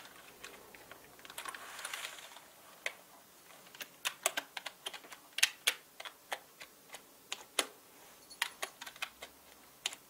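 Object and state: Plastic mechanical keyboard being typed on.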